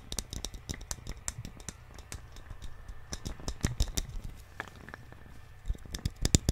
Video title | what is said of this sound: ASMR Tapping On Things - Unique Sounds | it's probably because of the hollow inside and the thickness of the wood